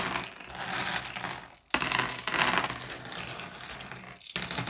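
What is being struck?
Small flat glass gems on a wooden surface.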